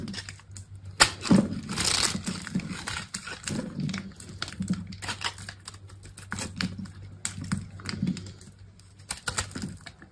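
A solid, hand-sized bar of dry blue soap is held in one hand while a utility knife blade cuts and scrapes thin, brittle flakes off its surface. Quick, dry crisp scraping and crackling clicks come in a steady run of short bursts, with a low hum underneath, and each sound dies away almost instantly.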